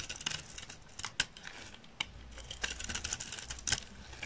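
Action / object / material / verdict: scrape / olive oil soap bar shaved with a knife blade / soap / none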